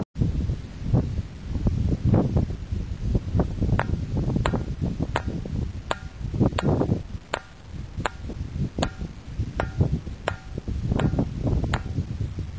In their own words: If you strike the boulder with a stone it produces a metallic, bell-like tone.